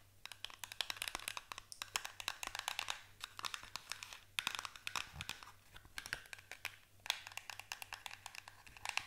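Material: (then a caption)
Paperboard. Long nails tap and scratch quickly across the faces of a small paperboard box, making a dense run of crisp, bright clicks mixed with dry, crinkly scraping. The hits are sharp and die away instantly, coming in busy flurries with brief lulls, over a faint low steady hum.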